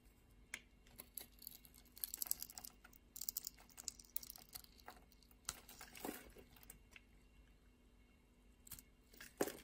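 A solid purple bar of soap is held in the hand while its surface is scraped and cubes are shaved off with a utility knife blade. Quiet, dry scraping and crisp, crunchy slicing ticks come in irregular bursts, bright and short with almost no ring, and a louder crunch stands out near the end.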